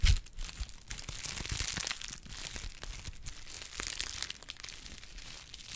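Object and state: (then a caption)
Honeycomb kraft paper being crushed. A hollow cup shape of brown honeycomb kraft paper wrap is squeezed and crushed by hand. Dense, bright crinkling and crackling runs continuously throughout, with a brief low thump at the start.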